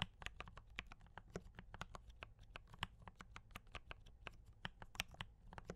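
Two hands type continuously with fingertip taps on a compact mechanical keyboard with D84 brown switches and cream and red plastic keycaps. About 29 short, dry clacks with bright tops follow one another rapidly, each dying away almost instantly over a steady low hum.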